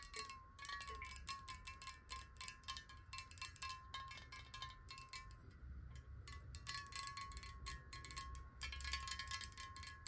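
Long fingernails tap quickly on a glass water bottle partly filled with water, making a steady stream of bright, short clicks over a sustained ringing tone near 1.1 kHz. The pitch wavers slightly as the water moves inside. A low rumble sits underneath.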